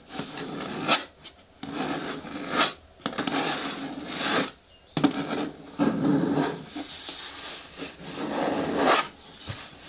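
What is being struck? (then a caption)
Hard plastic bin with lid. Long natural nails scratch and rub across the flat front and sides of a large, hollow, green hard plastic bin with a lid. Bursts of dry, raspy scratching with a bright edge stop and start with short pauses. A hollow low-mid resonance hums under each stroke.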